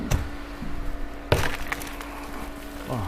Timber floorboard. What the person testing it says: sounds like cardboard when you left it